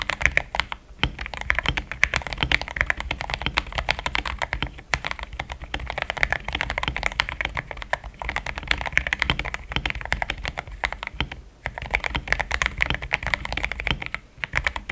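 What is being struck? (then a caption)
Plastic mechanical keyboard keys. A compact pink-and-cream mechanical keyboard with thick XDA-profile plastic keycaps, a plastic case, linear switches and a polycarbonate plate sits on a deskmat and is typed on continuously by fingertips. The keystrokes come as a dense stream of short, dry clicks and clacks with a bright upper presence over a soft low thump. Brief pauses break the flow around 1, 5, 11.5 and 14.5 seconds.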